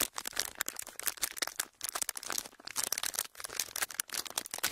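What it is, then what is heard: Thin clear plastic sheet crinkled. A pleated thin clear plastic sheet is flexed, pulled and crinkled with fingertips. It makes dense, bright crackling bursts with no low end, each snapping off instantly, with a few brief pauses between handlings.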